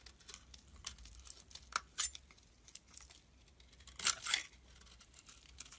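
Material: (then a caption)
Soap. A metal blade scrapes long shavings off the corners of a translucent brown glycerin soap bar held in the hand. Soft, bright, crisp scraping and crackling strokes are heard, with louder shaving bursts near the two-second and four-second marks over a faint low hum.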